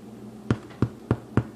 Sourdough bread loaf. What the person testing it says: Quand ça sonne creux comme ça, c'est bon signe.